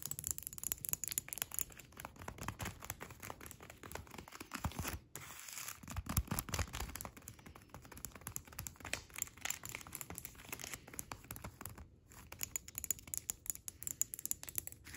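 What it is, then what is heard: Plastic cling film over tile. Long acrylic red nails tap and scratch clear plastic cling film wrapped over a flat hexagonal tile. The result is a quiet, steady stream of bright, crinkly taps and scratchy rustles, with short breaks near 5 and 12 seconds.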